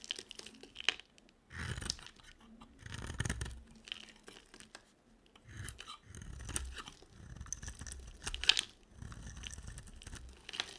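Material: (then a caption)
Soap. A box cutter shaves a solid, dry, yellow-coated soap bar, peeling off curly flakes. Each stroke gives a dry, crunchy scraping rasp with bright, crackly detail and a soft low thump, repeating in short bursts with brief quiet gaps between them.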